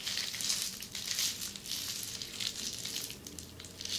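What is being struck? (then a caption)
Plastic bubble wrap. Long red-painted nails scratch across flat red plastic bubble wrap, close up. A continuous bright, crinkly scratching fills the clip, with bursts of louder rustling rising and falling throughout.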